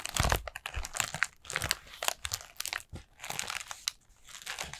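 Long nails tap and scratch the paper rings of a collapsed orange pleated paper lantern with a black plastic battery base. The result is a quick run of dry, crinkly taps and scrapes with a bright papery rustle and short pauses between bursts.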